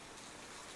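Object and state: Nothing is struck.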